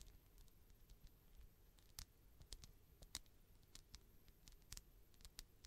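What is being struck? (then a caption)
Polyurethane foam squishy toy. Long nails scratch and tap the front and top of a palm-sized solid polyurethane foam toast squishy as it is turned in the hand. Quiet, soft scratching runs throughout, broken by scattered short, bright clicking taps that die away almost instantly.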